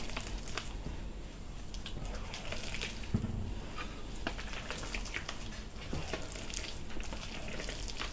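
Bare hands lift, squeeze and knead a large mass of sticky, shaggy potato bread dough in a white enamel bowl. The result is a steady, soft squishing and crumbling texture with a low, muffled body and scattered brief crackly ticks.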